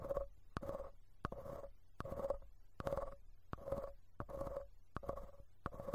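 A thin bamboo ear pick repeatedly scratches and scrapes the perforated metal mesh grille of the right capsule of a handheld recorder's stereo mic pair, a small, hollow, cylindrical metal housing. Each stroke begins with a sharp click and continues as a short, rough scrape with a hollow, ringing midrange tone, repeating in a steady, unhurried rhythm over a faint low rumble.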